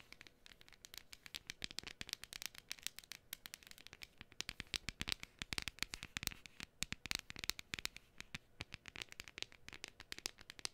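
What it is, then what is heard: Cardstock cutout. A flat, hand-sized printed cardstock gnome decoration, thin and solid, is held in both hands and scratched and tapped with long fingernails. Rapid, dry, bright clicks and scratchy rasps run continuously at a quiet level, each one dying away almost instantly with little low end.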